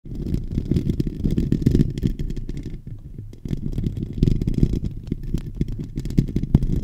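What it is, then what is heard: Metal microphone grille being scratched. Fingertips and short nails of both hands scratch directly over the capsule of a silver USB condenser microphone on a stand, across its hollow, domed metal mesh grille. The result is a dense, continuous, boomy scratching rumble concentrated in the low end, with faint crackly detail above. It eases briefly to a quieter patch near the middle before resuming at full strength.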